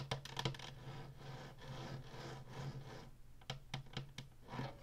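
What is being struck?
Plastic game console casing.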